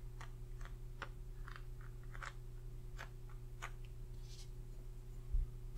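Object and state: Cardboard eyeshadow palette box.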